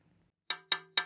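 A hammer taps three times on a thinner section of a carbon fibre road bike fork that has a chunk of material missing. Each tap gives a bright, high ringing tone near 3.8 kHz with faint lower hums, and the thinner spot sounds different from the rest of the fork.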